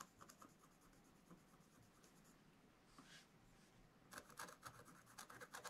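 A pointed wooden stylus held in the fingers scratches a black-coated scratch-art page in a spiral-bound book lying flat on a table, revealing colored foil lines. Faint, dry scratching strokes and a brief soft rub give way in the last second and a half to a quick run of sharper, brighter scratches with a raspy, papery edge and almost no ring.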